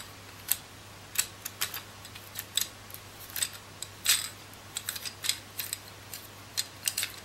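Long nails tap and scratch the white ridged plastic rollers of a palm-sized coral plastic hand massager and spin them, giving quick, bright clicks and ticks. The short sharp hits come in irregular bursts over a faint steady low hum.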